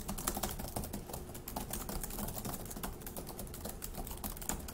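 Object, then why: Plastic laptop keyboard. Both hands type quickly with their fingertips on a dark grey laptop keyboard with plastic keys. The result is a fast, steady stream of light, dry clicks and taps with short, bright ticks over a soft low thud, each keystroke dying away quickly.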